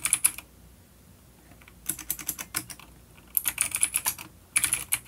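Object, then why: Plastic mechanical keyboard with clicky switches. Fingertips of both hands type on a full-size dark plastic vintage mechanical keyboard with clicky blue switches and grey keycaps, resting on a wooden desk. Quick bursts of sharp, bright clicking keystrokes come in three flurries, separated by brief pauses.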